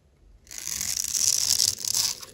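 A metal blade scores a grid into a dry, solid white embossed soap bar held in the palm and scrapes off cubes. After a short quiet start, a bright, dry, raspy scraping rises and continues with a gritty, crumbling texture before tapering off.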